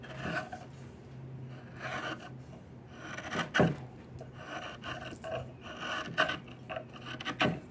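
A yellow-handled metal blade scrapes a long, solid, partly debarked diamond willow walking stick in steady strokes. Each stroke gives a dry, rasping bright scrape, some sharper and louder than others, over a faint low hum.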